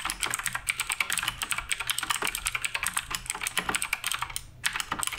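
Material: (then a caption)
Plastic. Both hands type rapidly with their fingertips on the plastic keycaps of a black RGB Redragon K588 Broadsword mechanical keyboard. A fast, dense run of short, bright clacks dies away almost instantly after each keystroke. The typing pauses briefly near the end before resuming.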